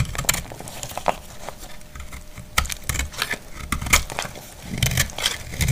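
A solid, dried white soap bar held in the hand is scraped and cut with a metal utility blade, and white flakes fall off. Dry, crackly scraping comes in short bright bursts with sharp clicks over a faint low rumble. The louder cuts stand out against quieter rasping in between.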